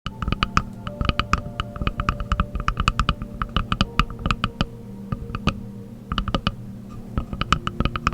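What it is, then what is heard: Wooden object tapped. A wooden object is tapped continuously with fingertips in quick, irregular bursts of short, dry knocks that die away almost at once, with a few brief pauses between runs. A faint steady low hum sits underneath the tapping.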